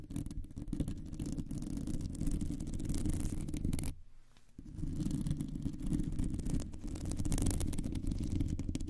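Long nails scratch across a round, hollow metal mesh microphone grille, producing a dense, low, rumbling scrape with fine crackle above it. The scratching stops briefly just before the halfway point, then resumes just as heavily until the end.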